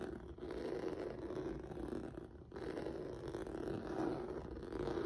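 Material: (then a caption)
Rubber. Fingertips and nails scratch the surface of a flat black rubber/vinyl mat with a textured noodle surface. A steady, dense scratching rasp sits mostly in the low-mid range, with a brief dip in the middle before the scratching picks back up.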